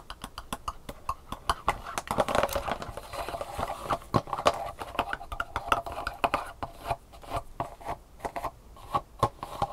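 Long painted fingernails tap quickly on the round raised compartment bumps of an empty black plastic sushi tray, made of thin hollow-molded plastic and held in hand. The result is a fast, irregular stream of short, dry, hollow clicks with a mid-range plastic tone around 690 Hz and almost no ring.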